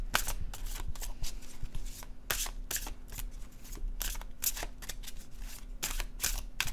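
A blue-edged glossy cardstock paper oracle card deck is overhand shuffled in the hands, the cards sliding against each other. Quick bright bursts of papery rustling and flicking repeat throughout over a steady low hum.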